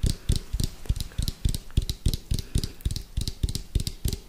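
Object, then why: Round plastic food container. An orange hollow round plastic food container with a white lid is held sideways and tapped quickly on its side with fingertips and nails. About 19 short, dull, hollow knocks come in a fast, uneven rhythm, each with a deep low thump and a faint bright click from the nails. The taps stop almost instantly, with no ring.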